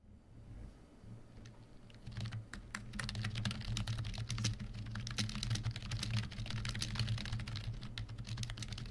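Both hands type rapidly with their fingertips on a full-size black plastic membrane Cosy KB1388 keyboard resting on a white desk. Soft, dull key presses patter in a quick, uneven stream, starting quietly and growing busier after about two seconds. A steady low hum sits underneath.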